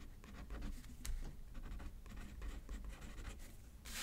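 A pen writes on a thin paper card resting on a paper pad, producing a steady run of dry scratching strokes over a low, soft rumble. Near the end, the scratching turns into a brighter, hissing sweep.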